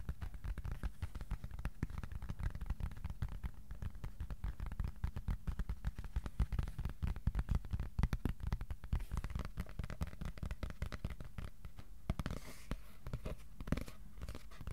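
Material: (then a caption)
Cardboard. A piece of cardboard is tapped with the fingertips, at times slowly and at times fast, producing a steady run of soft, dull, low thuds. Each tap dies away almost instantly, with a few sharper, louder taps in the middle of the run and a brief brighter rustle near the end.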